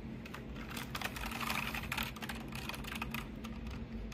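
Fingertips type and tap across the plastic keycaps of a pink backlit full-size mechanical keyboard. The result is a steady stream of bright, clicky keystrokes over a low, constant hum.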